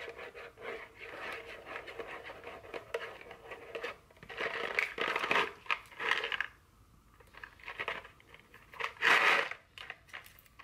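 A small printed cardboard chocolate candy box, likely full, is held in the hand and scratched and tapped with very long fingernails. Dry, bright scratching and rapid tapping come in bursts, with a quieter pause in the middle and a sharper scrape near the end.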